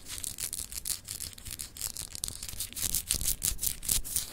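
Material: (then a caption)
Glass. Long acrylic nails rapidly scratch the textured, etched surface of a palm-sized solid clear glass globe paperweight held in one hand. The result is a fast, irregular train of dry, bright scratching strokes with a hissy high edge and soft low thuds underneath. The strokes grow slightly louder and more pronounced toward the end.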